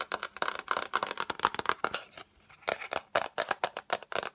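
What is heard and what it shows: Long acrylic nails tap quickly on the lid of a yellow Fendi cardboard gift box, rectangular and hollow, held up in front of the face. The result is a rapid run of short, dry, hollow clicks with a papery crinkle and no low end, centered in the midrange with bright edges. The taps break briefly for a pause near the middle before resuming.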